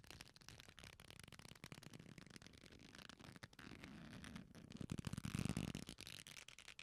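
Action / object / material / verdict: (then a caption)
scrape / leather belt strap / leather / none. An old black leather belt, a flat solid strap folded into a loop, is squeezed and rubbed between the fingertips of both hands close to the microphones. It gives a dense run of quiet rubbing and crackly creaks, mostly low with some bright edges. Near the end it swells into a louder, low, groaning creak.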